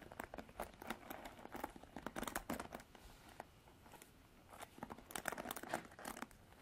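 Long artificial nails scratch the black bristles of a plastic paddle hairbrush held in both hands, making dense, crackly bursts of bristle scratching. A quieter lull falls around the middle before a second run of sharp, bright scratches.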